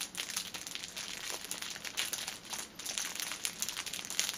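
Fingers squeeze and scratch the clear plastic film at the ends of a cellophane-wrapped six-pack of pocket tissues resting on a table. The result is a continuous, bright, dense crinkling with rapid crackles and almost no low end.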